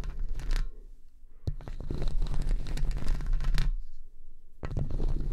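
Long red-tipped acrylic fake nails scratch and tap over two hollow silver wire-mesh condenser microphone grilles, one hand on each mic. Dense, scratchy rasping bursts sit on a heavy low boomy rumble, with brief quieter lulls near 1 and 4 seconds and a sharp tap around 1.5 seconds.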